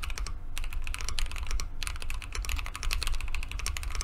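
A Keychron Q2 compact mechanical keyboard with JWK linear switches, a solid dark aluminum case and white and mint plastic keycaps sits on a desk mat. Both hands type continuously with their fingertips. The result is a steady stream of rapid, short, bright clacking key taps over a low, deep hum.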